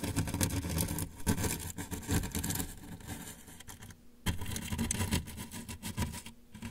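A hand resting at the right side of a large, hollow, closed corrugated cardboard shipping box scratches and rubs the box's side with the handle of a thin brush. The result is a dense, continuous scratchy rumble, heavy in the low end with a bright scraping texture on top. It drops briefly to near silence around the four-second mark and again near the end.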